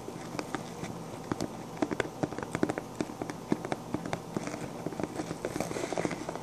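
Short dark-painted nails on both hands rapidly scratch and tap the sequined crown of a pink sequin-covered fabric fedora with a hollow crown. Quick, sharp clicky taps land over a steady, soft scratchy rustle, each tap dying away almost instantly.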